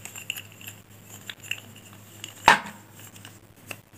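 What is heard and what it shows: A handful of solid pink chalk sticks is held in both hands and rolled and rubbed against each other by the fingers, with some sticks broken at the ends. Quiet, dry knocking and rubbing contacts tick along over a low steady hum, broken by one louder, sharp, bright snap partway through that dies away almost at once.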